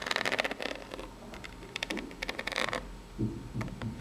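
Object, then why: Corrugated cardboard box. Long pink nails scratch and tap the ribbed top of a small, hollow, brown corrugated cardboard box. Quick bursts of bright, dry scratching alternate with light taps, ending with a few duller, deeper knocks on the hollow box.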